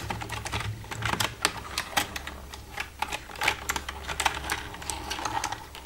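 Long red nails tap the keys of a black plastic computer keyboard in quick, irregular bursts. Each tap is a sharp, bright plastic click that dies away almost at once, over a faint steady low hum. The result is a dense, uneven clatter of clicks.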